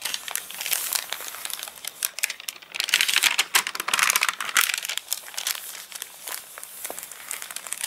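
Fingertips and a palm rub, flatten and lift the wavy, stiff pages of a thick glossy paper catalogue lying open flat, its pages dried crinkly after rain. The result is a dense, bright crinkling and crackling with no low end, growing louder and busier in the middle before settling into lighter rustles.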